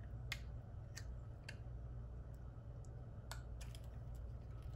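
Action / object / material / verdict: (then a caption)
scrape / bar of soap cut with a knife blade / soap / none. A metal utility knife blade carves a small, solid, white rectangular Ivory bar of dry soap held in one hand, shaving off curls. Short, bright, dry scraping clicks sound intermittently over a steady low hum. Each cut dies away almost at once.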